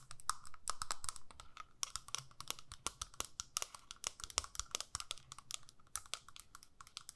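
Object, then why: Plastic eyeshadow palette lid. Long nails tap and scratch the clear lid of a small square plastic eyeshadow palette with visible pans inside. The result is a quick, irregular run of sharp, bright plastic clicks with light scratchy strokes, a faint tonal ring near 1.3 kHz, and each tap dying away almost at once.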